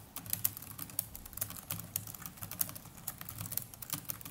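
Fingertips of both hands type continuously on the plastic chiclet keys of a small black netbook's keyboard. The result is a steady, fast patter of soft, dry clicks, bright on top with a muted low thump beneath. Each tap dies away almost instantly.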